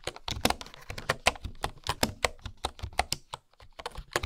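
Fingertips and long nails type on a bamboo keyboard with bamboo keycaps. A rapid, uneven run of short, dry clicks and clacks sounds, each hollow and woody with a bright tick on top and almost no ring. Softer low thumps of the keys bottoming out sit beneath the clicks, with a brief lull near the end before the typing resumes.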